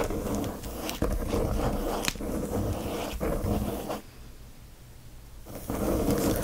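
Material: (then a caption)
Plastic film. Both hands rapidly scratch with their fingernails at the shiny plastic wrap of a flat watercolor paper pad, making a dense, rough scratching and crinkling sound weighted toward the low and middle range. Brief sharper accents punctuate the continuous scratching before it drops to a quiet lull, then picks back up at full intensity.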